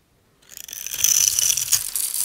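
A solid oval bar of dry cream-white soap, held in the hand, is scored and crunched into cubes with a metal utility-knife blade. After a brief silence, a dense, bright scraping and crackling crunch builds and continues to the end. The blade rasps with a sharp high whistle-like tone through the soap.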